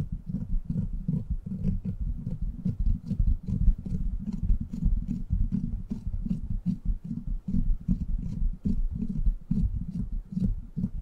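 Fingertips and short nails scratch the hollow, rounded steel mesh head of a silver microphone. The result is a steady run of deep, rumbling scrapes and thuds, with faint bright ticks on top.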